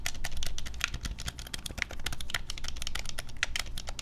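Fingertips and thumbs rapidly tap and press the buttons of a black, hand-sized, hollow plastic Nintendo Switch Pro controller held in both hands over a wooden desk. The result is a fast, dense stream of short, sharp plastic clicks that die away almost instantly, over a low rumbling background.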